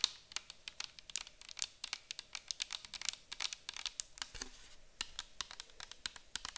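A round clear bottle with a white cap, likely plastic and partly filled with orange liquid, is held and tilted while long acrylic nails tap and scratch it. A quick, uneven run of sharp, bright clicks with almost no low end dies away instantly, with faint scratchy rustling between taps.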